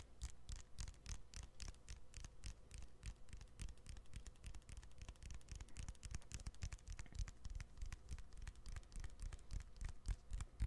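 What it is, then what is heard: Smartphone plastic back tapped and scratched. Fingernails scratch and tap rapidly on the white plastic back of a white smartphone held close to the mic. Quick, irregular taps with bright clicky edges mix with soft scratching over a dull, low body, all at a quiet level.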